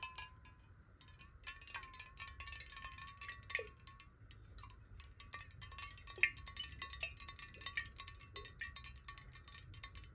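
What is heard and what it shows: Long nails tap quickly on a clear glass water bottle held horizontally in both hands and partly filled with water. The result is a dense stream of quiet, bright, clicky taps over a soft, steady glassy ring near 1 kHz, with occasional sharper accents.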